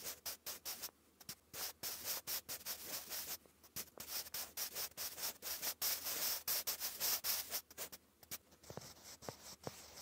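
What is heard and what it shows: A sharpened wooden pencil writes cursive on a lined grey paper notebook page, its graphite giving a dry, bright scratching. Quick, irregular bursts of scraping come and go with short pauses between strokes, heavier through the middle before easing to lighter strokes near the end.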